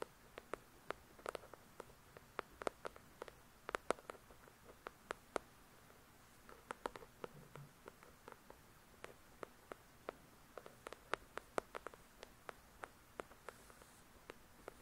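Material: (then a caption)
Paper. Long pointed nails tap quickly on the glossy card cover of the solid paperback novel "The Shack," producing about 45 crisp, dry clicks in uneven bursts over a quiet background. Each tap is very short with almost no ring, centered around the midrange with faint bright tops.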